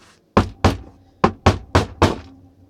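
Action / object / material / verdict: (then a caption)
knock / small resin figure casting / resin / solid. A solid resin casting of a LEGO-style figure is knocked six times in quick succession, giving short, dull, low knocks that stop almost at once. The casting is solid and does not break when hit, unlike the original pattern, which would break if flicked or hit.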